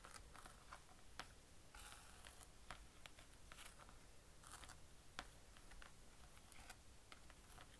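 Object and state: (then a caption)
Plastic lid with fabric pad. Fingertips rub and scratch the grey fabric pad on a flat blue plastic easel lid while the other hand's nails touch its plastic rim. The result is quiet, continuous scratchy rustling broken by a series of brief, bright clicks and taps over a low background hum.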